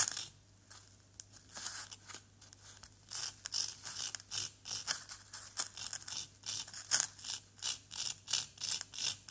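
A pointed wooden stick held in the fingertips scratches and scrapes the surface of a small, solid yellow plaster dig-kit block. The result is a quiet, uneven series of bright, dry scratching strokes with almost no low end. The strokes come faster and louder in the second half, over a faint steady low hum.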